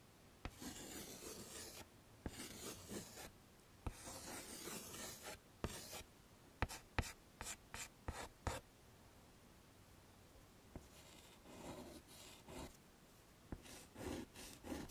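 A hand draws with white chalk on a flat dark chalkboard in a wooden frame, making continuous scraping, rasping strokes with a bright, hissy edge. Sharp chalk taps punctuate the scratching, with a quieter pause in the middle before the strokes resume.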